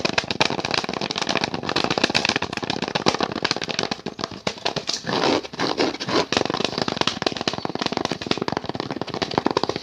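An orange-painted, hand-sized, thin and flat wooden picture frame with a brown backing board is held in both hands close to the mic and tapped and scratched rapidly with the fingertips and nails. A dense, crackling stream of short, dry taps and scrapes runs throughout, with a brief stretch of smoother, continuous scratching around the middle.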